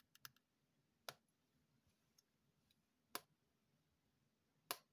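Long painted fingernails tap a small, hollow, dark grey plastic earbuds charging case held in the hand. Six sharp, bright clicks are heard: a quick cluster of three light taps, then three louder, more widely spaced taps, each dying away almost at once over a quiet background.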